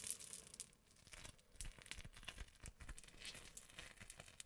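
A handful of green and yellow crunchy slime packed with small foam beads, soft and solid, is squeezed, pulled and kneaded between bare fingertips close to the camera. It gives a dense stream of bright, crisp crackles and tearing pops with faint low thumps beneath, steady at a quiet level without any ring-out.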